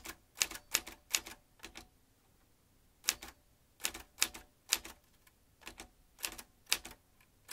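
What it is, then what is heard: Manual typewriter typing. Fingertips type rapidly on the keys of a vintage metal manual typewriter. Sharp, bright clacks come in quick clusters separated by short pauses, including a longer gap near the middle. Each strike dies away almost at once, with very little low end.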